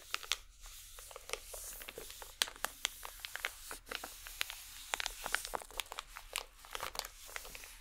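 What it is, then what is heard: Crinkly plastic packet. A small striped holographic plastic packet is crumpled and squeezed by both hands with long nails. Dense, sharp crinkles and crackles snap out one after another, bright and quick to fade, over a soft steady hiss.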